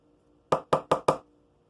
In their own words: yeah it definitely sounds like plastic